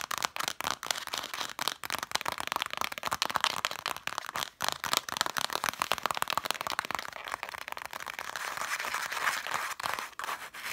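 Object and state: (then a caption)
Cloth-bound book spines being scratched and tapped. Long matte dark nails rapidly scratch and tap across the red cloth spines of a stack of vintage hardcover books. The result is a dense, dry, crackly stream of quick scratches and taps with almost no low end and very short decay, concentrated in the mids with bright, crisp edges.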